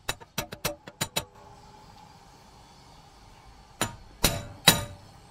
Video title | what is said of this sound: Front Wheel Bearing Replacement (3rd Gen Toyota 4runner & 1st Gen Toyota Tacoma) | you hear that solid sound and it's not driving it any further you know you're fully seated